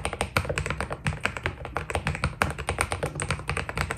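Fingertips type quickly on a white Keydous NJ80 mechanical keyboard with PBT plastic keycaps. The result is a steady run of short, crisp key taps with a low, thocky body and a brighter click on top.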